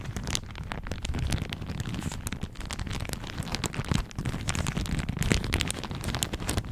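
A thin floral plastic shower cap with an elastic rim is held over the microphone and crumpled and squeezed between the fingertips and nails of both hands. The result is a steady run of dense, bright crinkling and crackling with a heavy low rumble underneath, like rain. The crackles are short and dry, with no ring after them.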